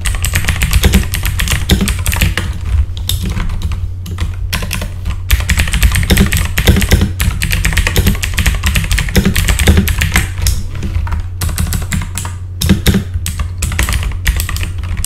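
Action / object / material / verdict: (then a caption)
tap / mechanical computer keyboard with plastic keycaps / plastic / none. Both hands type with their fingertips on a full-size backlit mechanical computer keyboard with plastic keycaps, producing a steady, dense stream of quick, bright clacks over a constant low hum. The typing runs continuously for the whole clip, with only brief dips around 4, 11 and 12.5 seconds.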